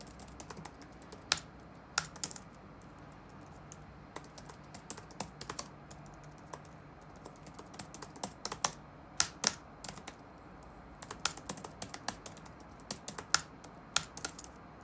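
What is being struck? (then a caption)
Plastic laptop keyboard. Fingertips type on the black plastic keycaps of a dark laptop resting on a wooden desk. Quiet, bright, short clicks come in irregular bursts with short pauses between them. Each tap dies away almost at once against a faint low background hum.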